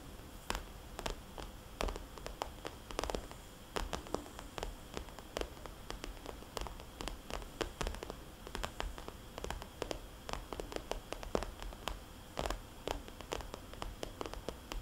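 A small red polka-dot glossy plastic cosmetics bag, a hollow pouch lying flat, is tapped and scratched with long dark-polished fingernails. Many sharp, quick clicking taps stand out over a steady low, static-like hiss, with soft rustling and scratching between them.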